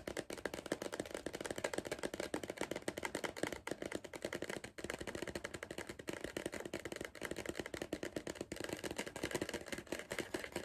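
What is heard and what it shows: Fingertips of the hand gripping a tall, hollow cardboard Pringles crisp tube tap rapidly and continuously on its side. The taps are dry and hollow, with a body around 300 Hz and a short ring. They run steadily for about 11 seconds, with only brief pauses.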